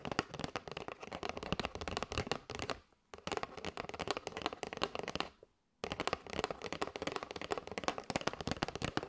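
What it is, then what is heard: Cardboard box of paper straws. Long nails rapidly tap and scratch the side edge and front of a kraft cardboard box full of paper straws. The result is a dense, crackly stream of dry clicks and scrapes, broken by two brief silences.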